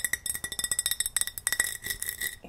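Fingernails tap and scratch rapidly on a large wide-mouth Ball glass mason jar that holds cotton balls. The result is a quick run of bright, glassy clicks and clinks with a steady tone near 2 kHz and high overtones, each one dying away almost instantly.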